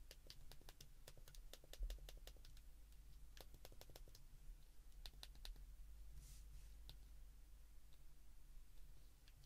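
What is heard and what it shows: Thumbs repeatedly press the keypad buttons of a handheld white plastic flip phone, giving crisp, bright clicks in quick bursts with short pauses between them. A steady low hum runs underneath the whole clip.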